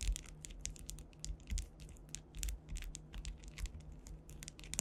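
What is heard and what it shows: Long white acrylic nails scratch and tap across a solid, flat panel densely covered with faceted clear rhinestones, possibly acrylic. The result is a dense, continuous run of crisp, bright clicks and scratchy ticks over a faint, steady low hum.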